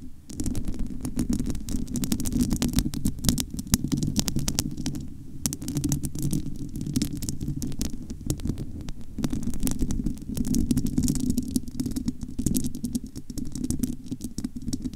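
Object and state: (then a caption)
Metal microphone grille, scratched and tapped. Long almond-shaped nails scratch and tap the bare metal mesh grille of an uncovered Blue Yeti microphone with a hollow head. Dense, rapid scratching and tapping runs throughout, with a heavy low rumbling tone centered around 220 Hz.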